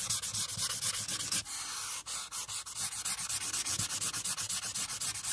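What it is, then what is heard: Marker scrubbing on paper. A marker tip scrubs back and forth along the bottom-right border of a flat paper coloring sheet resting on a clipboard. Quick, dry, raspy strokes make a bright, hissy scratching with almost no low end. The strokes briefly slow to a few separate rubs partway through, then resume at a steady rapid pace.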